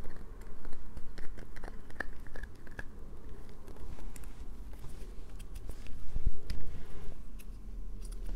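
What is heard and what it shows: A solid light-blue bar of soap is held in the hands and scratched with long painted nails. Quick, irregular scratchy clicks and scrapes follow one another with short, dry decays over a low, muffled rumble, with a few brighter crisp ticks mixed in.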